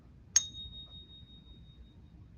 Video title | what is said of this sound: How to Authenticate Your Silver - David Cross Silver Market Briefing Part 2 | Pure silver sounds a little bit different. So, this is 100% 999 pure silver.